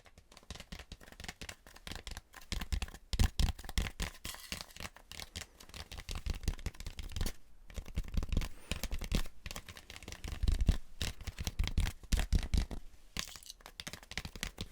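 A styrofoam mannequin head is tapped rapidly and continuously, giving dense, dull, low thuds with a dry, scratchy, crinkly texture. The taps come in irregular bursts with very short decay, rising and falling in loudness throughout.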